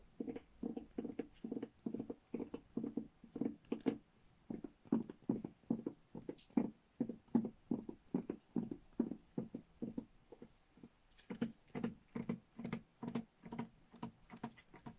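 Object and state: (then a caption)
Wrapping paper roll tapped with nails. Long nails tap and scratch along a long roll of printed Christmas wrapping paper on a cardboard tube. The result is a quick, uneven run of short, hollow taps with a low-mid tone, each dying away almost at once. Faint bright scratching rises between them, most noticeably around the eleventh second.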